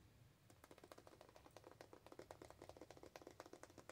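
A small, soft plastic squeeze tube of face primer (pink and white Revolution Strawberry Whip), capped and apparently full, is held in one hand and tapped and scratched with long decorated acrylic nails. The result is a quick, steady run of light, dry clicks with a bright edge, each dying away almost at once.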